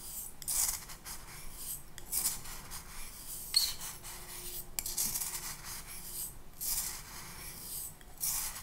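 Fine pink sand or sugar, half filling a small clear glass cup held in one hand, is swirled and scraped inside the cup, apparently with a clear plastic spoon. Repeated bright, hissy rubbing and scraping bursts rise and fade over a soft, low background.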